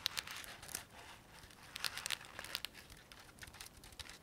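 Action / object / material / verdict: tap / sequin-covered soft fabric pouch / sequins / none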